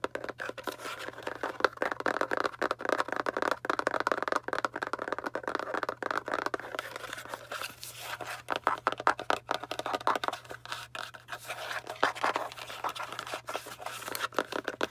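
Long dark nails tap and scratch quickly along the faces and edges of a small, tall, hollow kraft cardboard box held up in both hands. The result is a dense, continuous stream of dry, papery clicks and scrapes centered in the mid-range around 1 kHz. Each hit dies away almost instantly over a faint, steady low hum.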